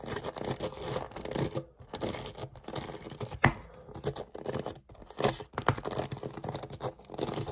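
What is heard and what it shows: Fingertips quickly scratch and rake across the dense, tipped metal pin bristles of a small handheld hairbrush with a dark plastic body, held close up. The result is a fast, continuous scratchy raking texture with bright crackle and brief pauses, broken by a few sharper louder strokes, one standing out midway through.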